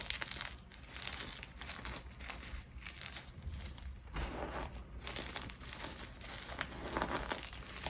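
Hands squeeze solid, brittle chunks of white gym chalk (magnesium carbonate) from a pile of chunks and powder, pressing and rubbing them in the fist and fingertips. A steady run of dry crunching and crinkling crackles fills the clip, with bright gritty edges over a soft low rumble. The chunks crumble apart under the pressure.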